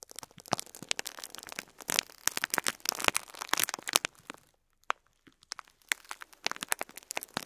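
Two fingertips press and crinkle a full clear plastic bag of cream plastic faux pearl beads, shifting the beads inside. It makes a dense run of bright, dry crinkles and tiny clicks, which pause briefly except for one isolated click before starting again.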